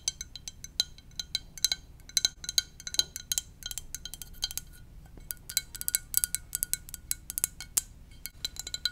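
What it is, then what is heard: Ceramic mug tapped with nails. Long nails tap the side of a hollow, blue and white ceramic mug shaped like a VW bus, held up. Rapid, irregular taps make bright, clinking clicks with a high ring that fades almost at once.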